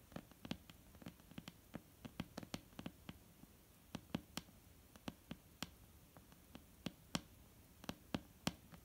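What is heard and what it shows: Nail tips and fingertips tap a flat, solid, dark-brown wooden tabletop up close, producing 27 quick, irregular taps over a quiet hiss. Each tap is a short, dry knock with a low body around 180 Hz and a bright click on top, dying away almost instantly.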